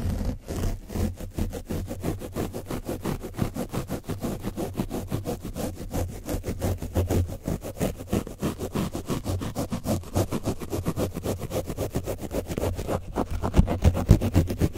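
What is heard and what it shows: A foam brush is scraped repeatedly over the top of an orange foam microphone windscreen coated with dried paint. The result is a dense, rough scratching with a strong low rumble, in fast, uneven strokes that run continuously throughout.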